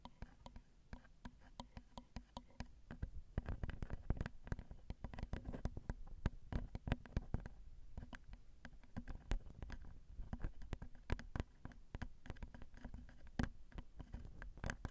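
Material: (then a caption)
Metal. Long acrylic nails tap rapidly and lightly on the crossed metal X/Y microphone capsules of a Zoom recorder. The result is a quiet, continuous stream of short, dry clicks with a heavy low-frequency thump and almost no ring after each tap.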